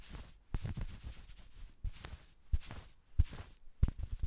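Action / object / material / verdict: scrape / fleece jacket scratched and tapped with battery-tipped fingers / fleece / none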